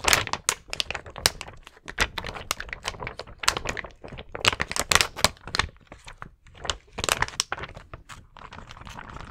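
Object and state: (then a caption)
Plastic rhinestone sticker sheet. Fingertips and nails scratch and flex a large, flexible clear plastic sticker sheet covered in rows of small colored acrylic rhinestones, held up in both hands. The result is a dense run of crisp, bright crinkles, ticks and scratchy clicks with very short decay. Bursts of louder crackling alternate with softer rustling, and the sound eases into a steady faint crinkle at the end.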